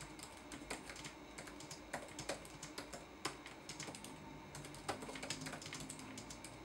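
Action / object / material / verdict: tap / plastic laptop keyboard / plastic / none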